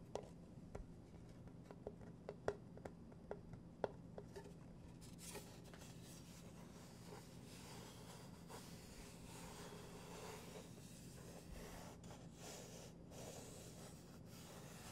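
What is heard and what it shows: Fingertips and short nails tap the painted surface and edge of a solid, round, flat wooden pendulum board, plate-sized and painted black and cream with letters, held close to the mic. About four seconds of sharp, dry taps with almost no ring give way to steady scratching and rubbing across the painted surface for the rest of the clip.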